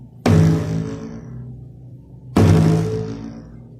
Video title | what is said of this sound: EFECTO SONIDO DE TERROR CON UN GARRAFÓN | Cuando lo golpeo, suena como efecto de sonido de película de terror.